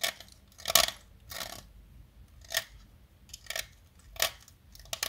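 A small, solid light-blue blackboard chalk stick, held in hands with long nails, is shaved and carved with a metal utility-knife blade. Short, dry scraping strokes come in separate bursts with quiet gaps between them. The sound is bright and gritty, with almost no low end.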